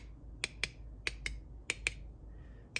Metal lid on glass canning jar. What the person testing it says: you can tell when you give them a little tap they have a nice solid sound so they've all sealed